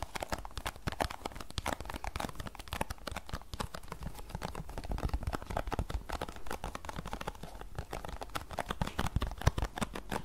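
Long nails scratch and tap across the surfaces of a small, closed green paperboard tea box held in both hands. A dense, steady stream of quick, dry clicks and scratchy rustles runs throughout, each tap dying away almost instantly over a soft, hollow low thud.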